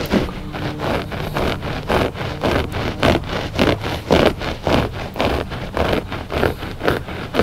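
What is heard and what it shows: Fingertips and short nails of both hands scratch a flat gray looped-pile rug, making a steady run of dry, rasping scrapes at roughly two strokes per second. Each stroke is a brief burst of broadband scratchy texture with a soft low rumble underneath, and the rhythm stays loose rather than even.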